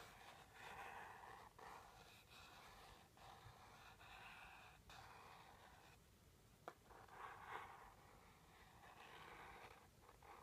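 A red-tipped stick lightly taps and strokes the front face of a small teal rigid cardboard jewelry box held in hand. Soft, papery scratching swells and fades in broad midrange hiss. A few sharp, brief taps stand out near the end.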